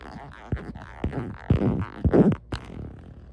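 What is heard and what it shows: Long nails scratch along the ribs of a beige ribbed silicone phone case fitted on a phone and tap the case. Five sharp, low, thudding taps stand out, with dry rasping scratches between them over a soft background hiss.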